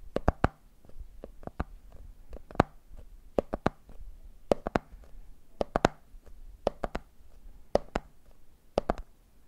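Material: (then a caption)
Plastic. Fingertips tap the top of the red plastic lid and then the side of a medium clear plastic jar full of peanuts. The result is quick clusters of short, dry taps with a dull low thud and a brief bright click, each dying away at once with no ring. The clusters repeat at a steady pace over a quiet background.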